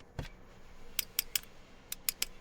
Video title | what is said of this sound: SAMSUNG Galaxy A37 5G – Unboxing, Spesifikasi & Pendapat Singkat | Jadi, saya bisa mendengarnya bahkan saat saya mengetuknya ini murni plastik.